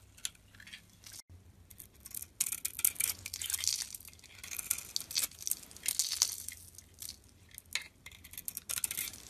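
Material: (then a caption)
Soap. A metal blade scrapes the pink glitter coating and white core off a solid Simple-brand bar of soap held in the palm. The sound is a series of bright, dry, crackling scrapes with a crisp, tearing texture and almost no low end, with brief pauses between strokes.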